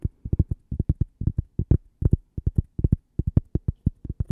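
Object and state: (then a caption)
Cork coaster. A thin, flat, toast-shaped cork coaster printed with a logo is held in the hand and tapped and scratched with long purple-painted nails. About 28 quick, dull, low thuds come in uneven clusters, each dying away at once with no ring.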